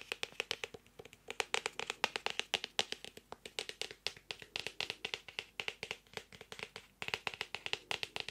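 A medium, solid, closed notebook with a printed floral hardcover of cardboard board and paper is held near the mic and tapped on the cover with fingertips and nails. Dozens of quick, irregular taps come in uneven bursts, each a bright, dry click that dies away almost instantly, with little low end.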